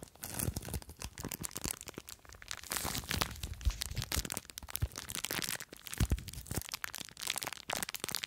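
Long nails scratch and squeeze a small clear plastic bag full of blue foam beads, producing a dense run of crinkling, crackling and crunching. The bright plastic rustle and bead crackle come in quick overlapping bursts with soft low thumps, each ending abruptly with no ring.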